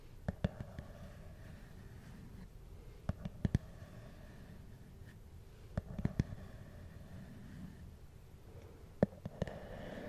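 Fingertips and nails tap a small, hard, black plastic glasses case, hollow and closed, held in one hand. About 14 short, sharp clicks come in small clusters over a quiet, low background hum, with no ring after each tap.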